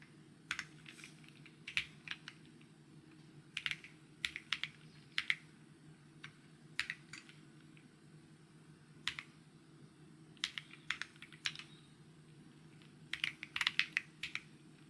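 Fingertips type on a solid, full-size, white-cased mechanical keyboard with grey, white and green plastic keycaps, resting on a desk. Short, bright, clicky keystrokes come in uneven bursts separated by pauses, each snapping off almost instantly, with energy centered around 2 kHz. A low, steady hum sits underneath throughout.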